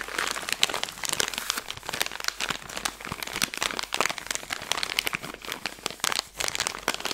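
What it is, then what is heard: Plastic candy bag being crinkled. A Skittles candy bag made of plastic film is bent and crinkled while long nails run over its surface. The result is a dense, continuous stream of bright, sharp crinkles and crackles with almost no low end. Each crackle dies away almost instantly.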